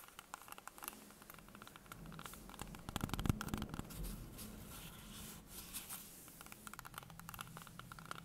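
Long painted fingernails tap and scratch a whole solid green apple held in the hands, making quick, irregular clicks mixed with dry scratching. The sound is quiet and close, with short taps that die away almost instantly and a slightly busier, louder stretch in the middle.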